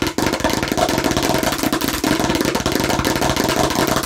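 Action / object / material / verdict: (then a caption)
tap / plastic toy watermelon slice / plastic / none. Rapid, aggressive tapping and scratching on a fake plastic watermelon slice produce a dense, steady stream of short clicky hits. The hits have a hollow mid-range tone around 640 Hz and a scratchy, bright edge, and each one dies away almost instantly.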